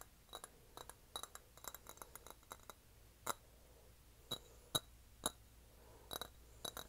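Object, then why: Small glazed ceramic dish. A small, shallow, hollow, empty pink glazed ceramic dish shaped like a cat's head is held in both hands and tapped and scratched with fingertips and nails. Quiet, irregularly spaced clicky taps come in clusters, each with a bright, glassy tick near 3.9 kHz that dies almost instantly. Soft scratching fills the gaps over a low, steady background.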